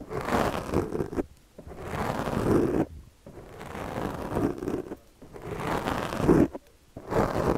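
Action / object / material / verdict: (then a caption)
scrape / foam microphone windscreen scraped with a plastic comb / foam / none. A yellow plastic comb is dragged across a black foam windscreen on a microphone while the other hand steadies the mic. Its teeth make close, dull scratching and rasping strokes, mostly low and midrange with little brightness, separated by brief near-silent gaps.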